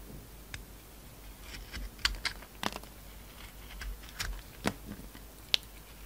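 A utility knife blade shaves and cuts a hand-sized, solid oval bar of soap with a brown glitter coating over a pink core, held in the palm. About eight short, crisp, bright scraping clicks stand out over a quiet background. Each one ends dry, with no ring.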